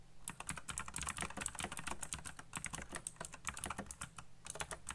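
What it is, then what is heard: Plastic mechanical keyboard. Fingertips type fast on the keycaps of a black plastic backlit mechanical keyboard. A rapid, steady stream of sharp, bright clicks and clacks is heard, each stopping almost instantly, over a soft low thump from the keys bottoming out.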